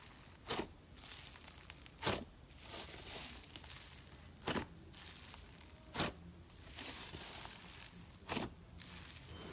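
A large mass of green, fluffy, airy foam slime, soft and porous rather than hollow, sits on a white table and is pressed, kneaded and stretched apart by a bare hand with its fingertips. It makes continuous soft, bright crinkling and rustling, broken by five sharper tearing bursts as the slime pulls apart.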